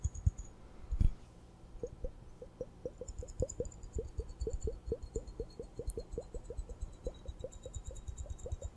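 Long painted nails tap and scratch the glass bulbs of a small hollow glass hourglass, partly filled with purple glitter sand, held up in both hands while it is tilted and turned. A couple of louder knocks near the start give way to a quick, steady run of short, soft, dull taps. The clicks are quiet and low-heavy and die away instantly.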